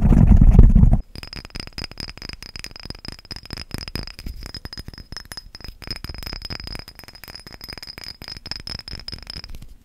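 A small amber-green glass spray bottle with a white spray cap and a label, apparently filled, is tapped rapidly with fingernails close to the microphone. A loud, low rumble in the first second gives way to quick, light clicking taps with a faint high ring.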